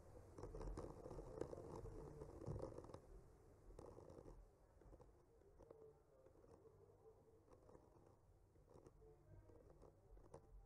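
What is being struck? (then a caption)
Painted wooden panel. The tip of a bamboo skewer slowly traces and scratches along the painted tree branches on a solid wood panel. It makes soft, dry scratching and rustling with a low, muffled body and faint brighter ticks. The strokes are louder for the first four seconds, then settle into a quieter, uneven scratching.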